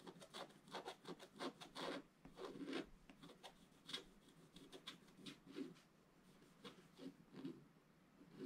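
A wooden stylus scratches across a flat, black-coated scratch-art paper card, a solid flat sheet. Quiet, dry, papery scratch strokes come in a quick, uneven series of short bursts, with bright, raspy streaks and almost no ring after each stroke.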